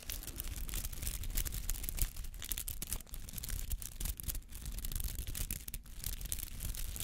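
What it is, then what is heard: Artificial rubber flower scratched. A palm-sized white-green artificial rubber flower with many soft, spiky petals is held in the hand and scratched with fingernails. It makes a steady, dense run of rapid rustling scratches with a strong low-frequency body and brief dips between strokes.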